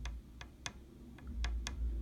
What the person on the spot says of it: it doesn't have the hard glassy sound of a shellac disc